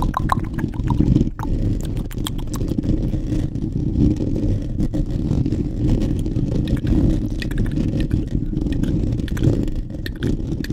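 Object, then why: Foam microphone windscreen. Fingertips and short nails of both hands scratch rapidly over a soft, porous black foam windscreen covering a large studio microphone. The result is a dense, steady rumbling rustle, heavy in the low end, with brief brighter scratchy clicks on top.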